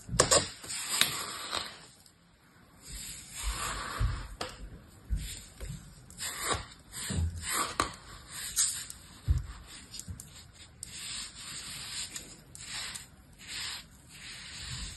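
A hand with long pink nails rakes, scrapes and stirs fine, dry blue-purple colored sand in a square clear plastic tub with a small orange plastic toy shovel. The result is a soft, grainy, bright hiss in uneven swells, with occasional dull low bumps as the shovel meets the tub.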